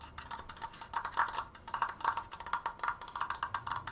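Fingernails tap fast on the sides and crossbar of a large, open triangular triforce frame made of wooden slats and held upright. The result is a rapid, uneven run of dry, hollow wooden clicks with a woodblock-like tone around 940 Hz. Each tap dies away almost instantly, with little low end.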